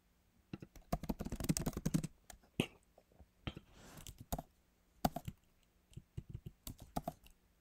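Fingertips type slowly, partly with one hand, on the backlit keyboard of a MacBook Pro, whose plastic keys sit in a solid aluminum body. The key taps come in irregular bursts with pauses, and there is a denser flurry of clicks early on. Each tap is a short, dry click with almost no ring.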